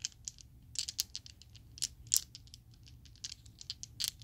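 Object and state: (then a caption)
Plastic dice set shaken in the hand. A small set of solid purple Chessex plastic polyhedral dice is shaken in an open palm so the dice clack together. The result is an irregular run of quiet, sharp, bright clicks that stop almost instantly, with almost no low end beneath them.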